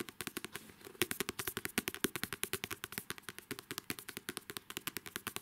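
Long manicured nails tap and scratch the glossy card cover of a paperback novel. The result is a rapid, uneven run of dozens of short, crisp clicks with a bright edge and little low end. Faint scratchy rustling fills the gaps between the taps.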